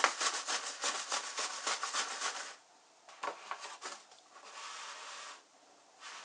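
A medium printed kraft-paper stand-up pouch of fruit-paper snack, likely partly filled, lies on a white wooden surface while hands with long light-painted nails rub, press and lightly tap its front. A quick run of dry, bright crinkling scratches fills the first two and a half seconds. After a pause come a few sharper crackles and a softer, steady rustle.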